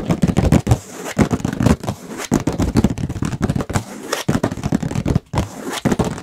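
A medium illustrated hardcover book with a painted cover, held in both hands, is tapped rapidly with fingertips and nails on the cover. Dense bursts of short, dry taps blend into a continuous clattering patter with brief pauses, heavy in the low end and dull rather than bright.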